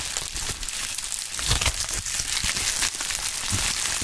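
A pink plastic bubble wrap sheet is crumpled over a mat, then lifted, squeezed and crinkled by gloved hands. It makes a steady, dense crinkling and crackling, mostly bright and high, with short louder bursts throughout.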